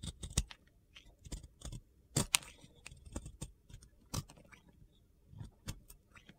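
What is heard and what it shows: A metal box cutter blade shaves crumbly white soap from a solid, round, pink-glitter-coated soap, making quiet, dry, crunchy scraping and gritty clicks. The short, sharp cuts come in an irregular, loose rhythm, with brief bright crackles over a soft low rustle.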